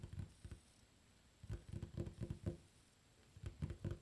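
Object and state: Wooden tabletop.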